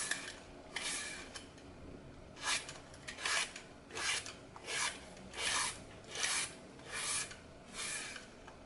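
A small blade repeatedly cuts and scrapes strips from the edge of a solid, glitter-coated floral foam block, held over a glass bowl of foam strips, as the block gets smaller. Each stroke makes a dry, bright, crunchy rasp, roughly one per second, separated by brief quiet gaps.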